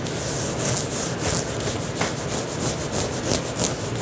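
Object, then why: Knit fabric tank top. Fingertips and short nails of both hands scratch and rub an olive green knit fabric tank top being worn, soft and thin over the chest, near the shoulders and collar. A continuous dry, bright scratching hiss swells in irregular repeated strokes, with a soft rubbing texture underneath.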